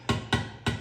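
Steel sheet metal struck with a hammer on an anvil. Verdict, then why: Flush. Hammer blows on the steel headlight bucket of a 1927 Reo, the sheet metal repositioned to sit flush on the anvil. Three distinct strikes, each a solid, low-weighted thud around 113 Hz with a brief bright edge that dies away quickly rather than ringing tinny. The duller sound indicates the metal is seated flush and being hit down flat.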